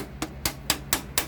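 Five quick knocks on a plastic desktop computer case, a Lenovo-era ThinkCentre, each a short, bright tap that dies away almost at once over a faint low hum. The case sounds hollow, a sign of its cheapened build compared with the earlier model.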